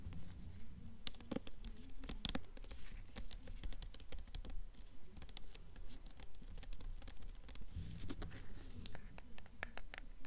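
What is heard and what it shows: Long nails tap and scratch the paper dust jacket of a blue hardcover book, held upright and then tilted. Quick, dry taps and brisk scratching strokes come in a steady, fairly regular patter, with a soft low thump under each tap and bright papery clicks on top. Each sound dies away almost instantly.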